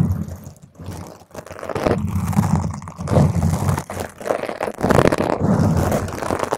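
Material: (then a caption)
Foam. Long stiletto nails on both hands scratch and grip the surface of a large, round, purple foam microphone windscreen. The result is a dense, muffled, bass-heavy scratching and crunching that swells and fades in rough waves, with almost no bright content.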